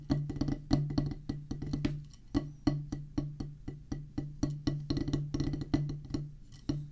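Two wooden drumsticks drum a rapid, uneven pattern on a solid oval practice pad with a black rubber top on a pressboard/wood base. Each stroke is a short, dull tap with a low, woody tone that dies away almost at once. The strokes come in quick bursts and rolls with brief gaps between them.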